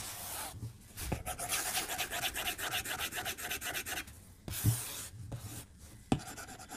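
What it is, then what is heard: Stylus on a glass tablet screen. A white plastic stylus tip strokes and taps across the glass screen of a tablet lying flat on a desk. Bright, scratchy rubbing strokes come in quick bursts, broken by short pauses and a few sharper taps.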